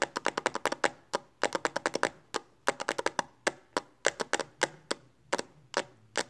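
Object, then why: Hard plastic phone case on a smartphone. Long nails tap quickly on the back of a smartphone in a pink hard plastic Speck case held in both hands. About 33 sharp, clicky taps come in rapid bursts with short pauses between them. Each tap has a bright, dry midrange click that dies away almost instantly.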